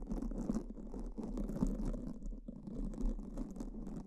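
Two black foam microphone windscreens are brushed and scratched with pink silicone spoolies held by fingertips, in repeated scratching strokes. The result is a continuous, soft, rough rustling with a low-mid body and faint bright fizz, and the strokes swell and fade unevenly throughout.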